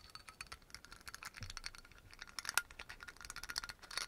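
Fingernails quickly tap and scratch the black cap and glass shoulder of a dark brown amber glass oil bottle with a yellow label. The result is a fast, irregular stream of quiet, bright clicks and scrapes, with a short glassy ping ringing near 1.4 kHz.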